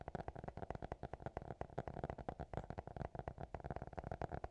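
A small black notebook with a hard cover, lying closed, is tapped and scratched with fingertips and nails. It gives a quick, steady run of dull, low, soft knocks that stop dead with no ring, with a faint scratchy texture between them.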